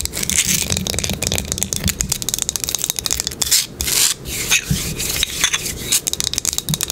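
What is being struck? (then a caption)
Small wooden box. Long pink nails scratch and rub the top and edges of a small flat wooden box with dark corner dots, held in the hand or resting on a table. The sound is a fast, dense run of crisp, bright scratching and tapping, with many short clicks and rasps over about seven seconds.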